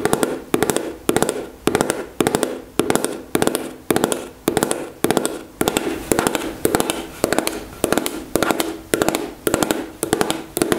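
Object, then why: Plastic gel tube. Long nails tap quickly on the body of a white-and-green plastic gel tube held at an angle above a table. The taps come in short, steady bursts of rapid, light clicks with a hollow plastic tone around 430 Hz and a bright edge. Each burst fades quickly before the next one starts.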